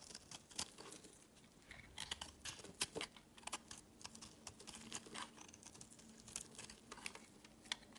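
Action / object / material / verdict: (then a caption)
scrape / bar of soap carved with a knife blade / soap / none. A utility knife blade scrapes and carves a solid, hand-sized yellow bar of soap held in the hand, with crumbly shavings falling away. The sound is a quiet series of dry, crisp scrapes and crinkly clicks, bright and short, with almost no low end and very little ring after each cut.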